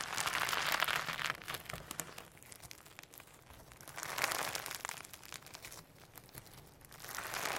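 A firm slime packed with hologram sequins is pressed and kneaded on a table, then lifted and squeezed between the fingers. The result is a bright, crinkly crackling of rapid small pops and clicks. It swells louder at the start, again around the middle, and at the end, with quieter squishing in between.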